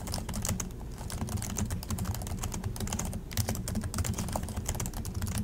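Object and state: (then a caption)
Plastic laptop keyboard being typed on. Both hands type continuously with their fingertips on the plastic chiclet keys of an Acer laptop keyboard. The result is a steady, rapid stream of short, crisp plastic taps, with bright clicks over a soft, low thud from each keystroke.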